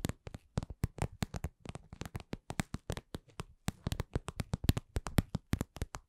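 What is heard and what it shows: Long nails tap and scratch a glossy red patent vinyl (PVC) cosmetic pouch shaped like lips, medium-sized, soft and hollow. About 36 short, dry taps land at a slow-to-medium, uneven pace. Each has a soft, low, hollow thud with almost no ring and only faint bright clicks on top.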